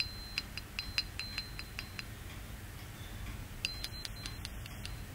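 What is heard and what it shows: A tall, solid, clear quartz crystal point standing upright is tapped repeatedly with a small metal tool held in the fingers. Bright, short clinks ring with a faint high tone in two bursts, one in the first two seconds and another near the end. A quiet low rumble sits underneath.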